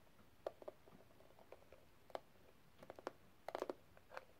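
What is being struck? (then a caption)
Small metal case with rhinestone cover. Long red nails tap and scratch the pink rhinestone gem-tile cover of a small closed metal case. Quiet, sharp clicks with a brief bright, glassy ring come in irregular bursts, including a quick cluster near the end. Faint scratching fills the gaps between them.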